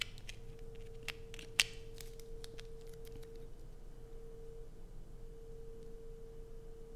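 A solid blue bar of soap, held in the hands, is scratched and dug into with long acrylic nails, shedding flakes. Quiet, bright scratches and sharp clicks cluster in the first few seconds, one louder snap standing out, then fade to faint scraping. A steady mid tone hums underneath throughout.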